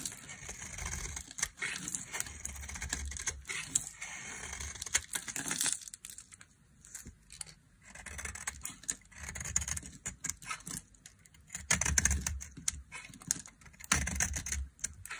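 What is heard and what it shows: A dry, solid rectangular white bar of soap, hand-sized and held in one hand, is shaved and scraped with a small metal blade held in the other, producing crisp flakes and crumbs. Dense, bright, crackly scraping and shaving strokes come in bursts, with a quieter stretch in the middle before the carving picks up again.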